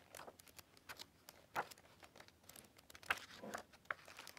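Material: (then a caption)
Paper. Glossy paper pages of a large illustrated hardcover book, lying open on a table, are slid and turned by hand and by fingertips with long nails. The result is soft, irregular papery rustles and crinkles with a few sharper, brighter swishes, quiet overall and with almost no low end.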